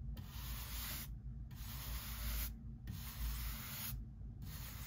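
A hand-held bristle brush is swept back and forth across the rough surface of a solid pine lumber beam on the front of a workbench, while wood knots are being removed. Repeated bursts of bright, airy scratching rise and fall with each stroke, separated by brief gaps, over a steady low rumble.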